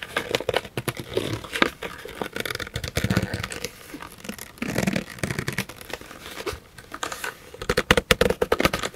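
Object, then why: Textured paper pouch. A handmade pink textured paper pouch with a metal bee clasp, hollow and empty, is held in both hands with long painted nails and flexed, bent and rolled. The stiff paper rubs and crinkles in a steady run of dense, dry rustles and crackles, with a louder cluster of sharp crinkles near the end.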